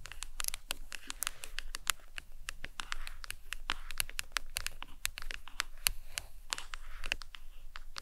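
A phone in a glossy leopard-print hard plastic case, lying back up, is tapped and scratched with long nails. It makes a steady run of rapid, sharp clicky taps mixed with brief scratchy rasps. The sound is bright and dry, with each tap dying away instantly.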